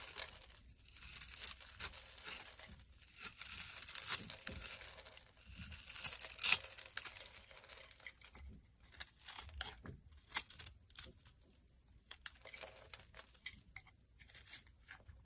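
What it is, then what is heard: Bar of soap being scraped. A dark utility blade scrapes crumbly chunks off a solid, hand-sized blue bar of soap held in the hand, and the pieces fall onto a wooden surface. The scraping is quiet, dry and bright, a steady run of crisp, crackling, tearing-like strokes with short bursts and brief pauses. There is almost no low end or lingering ring.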